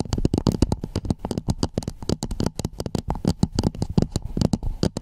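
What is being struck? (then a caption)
Hollow plastic dome cap. Long nails tap and scratch along the sides and ridges of a hollow red plastic dome cap fitted over a Blue Yeti microphone. They make a rapid, uneven run of dry, short taps with a deep, boomy thump under each one and faint bright clicks on top, with light scratchy rustle in between.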